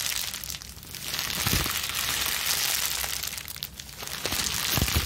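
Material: Plastic.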